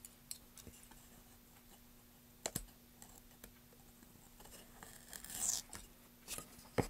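A solid, light wooden block with a price sticker is scraped and scratched with a flat metal tool and fingernails across its surface and label. Soft, irregular scratching is broken by sharp, short clicks and a brief louder rasp near the end, over a faint steady low hum.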